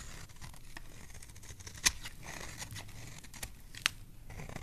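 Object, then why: Bar of soap shaved with a metal blade. A solid oval green bar of soap, held in the hand, is shaved with a metal blade into long curls. The clip is a soft, steady scraping with a fine crackly texture, mostly in the high range. Two sharp, bright clicks stand out clearly against it.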